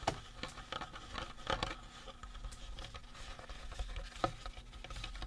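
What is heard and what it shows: Fingertips and short nails rapidly tap and scratch the face of a life-size painted resin or plastic Halloween prop skull, working around the eye sockets and teeth. A quiet, continuous patter of soft taps and scratchy strokes is heard, with a few sharper knocks that give a brief hollow ring near 540 Hz. A faint steady low hum sits underneath from about two seconds on.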